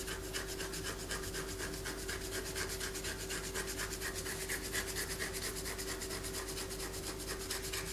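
A palm-sized solid white bar of soap, held in the hand, is scratched with long fingernails while shavings fall onto a paper poster. Quick, fairly regular rasping strokes, about two per second, run continuously with a bright, scratchy texture over a faint steady low hum.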